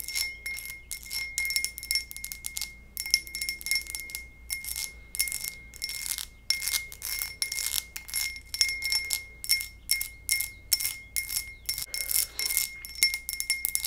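A textured glass goblet is tapped over and over in quick bursts, giving bright, high-pitched, bell-like clinks. A thin, steady ringing tone holds underneath the taps throughout.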